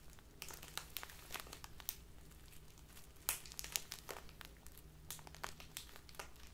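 A small crinkly plastic bag full of loose tea is crumpled and squeezed in both hands with long nails. Dense, bright crinkling crackles come in rapid bursts over a quiet low hum, with a few sharper, louder crunches along the way.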